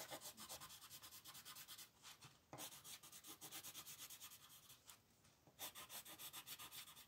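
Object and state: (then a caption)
Colored pencil shading on a paper page. A red wooden colored pencil, gripped close to the tip, scratches across a thin paper coloring book page lying flat on a table in fast shading strokes. Dozens of quick, bright, raspy rubs run in a steady rhythm, with two brief softer pauses, and there is almost no low end.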